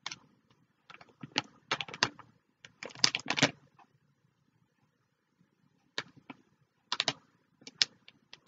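A clear plastic bag holding flat paper notebooks or cards, held flat in both hands, is tapped and scratched with long fingernails. Crisp, bright crinkling taps and scratchy rustles come in short clusters, separated by quiet pauses. Each sound stops almost instantly, with little low end.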